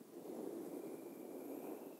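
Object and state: Nothing is struck.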